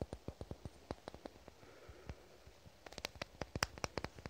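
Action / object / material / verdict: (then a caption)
tap / small amber glass dropper bottle / glass / none. A small amber glass bottle with a white label and a black dropper cap is held in both hands and tapped with fingernails. Short, dry clicking taps come in a steady run, thin out to near silence in the middle, then return as a quicker, brighter cluster.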